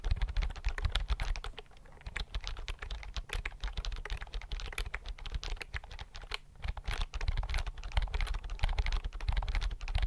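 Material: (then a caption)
Plastic. Fingertips type on the keys of a slim white plastic computer keyboard held at angles in front of the microphone. The result is a steady, rapid stream of short clicky taps with a deep thudding body, quick decay, and a slight lull around the middle.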